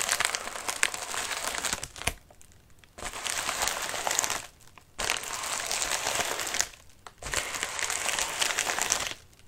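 Fingertips scratch the wrinkled surface of a medium white padded mailer resting on a lap, making dense, bright crinkling and crackling. The scratching comes in four bursts, each about one to two seconds long, separated by short quiet pauses.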